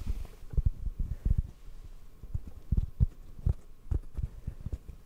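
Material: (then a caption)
Foam. A detached, palm-sized black foam microphone windscreen, hollow and soft, is held in the hands and tapped with fingertips. The taps come as a quick, uneven series of soft, deep, muffled thumps with almost no ring, all low-pitched like a faint heartbeat.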